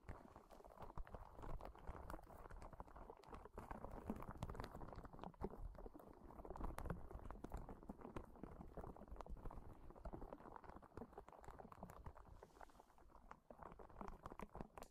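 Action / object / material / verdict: scrape / soft rubber spiky ball / rubber / none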